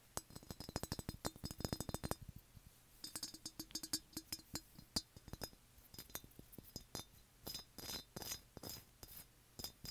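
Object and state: Ceramic birdhouse.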